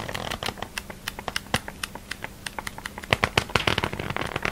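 A thick glossy paper catalogue, held half-closed over a polka-dot tablecloth, has its stacked page edges flicked and riffled by fingertips and thumb. About two dozen rapid, crisp, bright paper flutter snaps follow one another, growing louder and denser toward the end, over a faint steady low hum.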